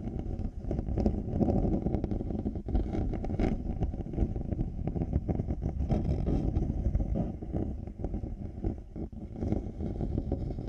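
Both plastic and faux-leather earcups of black over-ear headphones, resting on a 3Dio microphone, are scratched with fingertips and nails. The result is a dense, continuous low, muffled scratching rumble with rapid rustling strokes and very little bright content, steady in loudness throughout.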